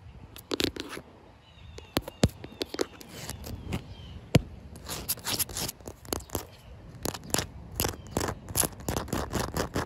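Short white nails scratch and tap across a solid, wet outdoor concrete slab with a joint and puddles, making a run of dry, crackly scrapes and sharp clicks that die away almost at once. Faint chirping tones in the background around the start may be an animal.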